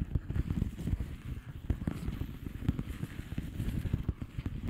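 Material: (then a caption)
Plastic. A flat blue plastic bubble wrap envelope is tapped with the long polished fingernails of both hands. The result is a steady run of quick, soft, dull taps with low thuds and faint crackle and no ringing.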